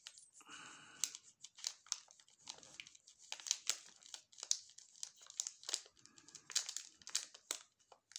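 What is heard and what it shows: The red glossy plastic wrapper of a sealed, full Furor chocolate bar is squeezed and crinkled by gloved fingertips. It makes a quiet, bright crinkling, with dozens of sharp, short crackles in uneven bursts and almost no low end.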